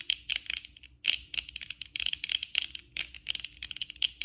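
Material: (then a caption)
Plastic. Long acrylic nails tap rapidly with both hands on the lenses and frame of worn black plastic eyeglasses. The result is a quick, uneven patter of crisp, bright clicks that stop dead with no ring, broken by a brief pause around the one-second mark.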